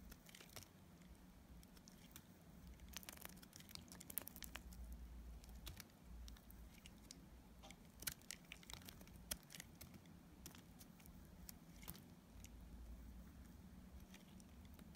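A metal utility blade scrapes and cuts a solid pink bar of dried soap into curls. The result is a steady run of quick, dry, crisp scraping clicks with bright edges over a low, constant hum.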